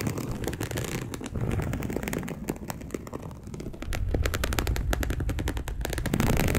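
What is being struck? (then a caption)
Polyester mesh fabric sheet. Long acrylic nails on both hands scratch a dark polyester mesh bed sheet in fast, uneven strokes. The sound is a dense, crackly scraping with a heavy low rumble and short, dry bursts. It eases off slightly midway, then grows louder and more intense toward the end.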